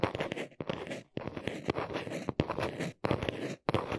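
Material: Cardboard.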